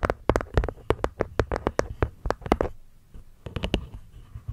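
Long nails tap the cork lid and the wooden edges of a small, hollow, hexagonal light-wood box with a cork top panel. About eighteen quick, dry, muffled taps come in a fast irregular run, then pause briefly before a few more. Each tap is low and dull, with almost no ring.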